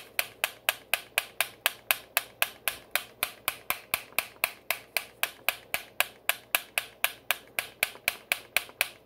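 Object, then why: Plastic hair straightener plates. A hollow black plastic flat iron with two hinged plates is held in the hand and snapped open and shut so the plates clack together. Thirty-six sharp, bright plastic clacks come in a steady rhythm of about four per second, each dying away almost at once with no low-end body.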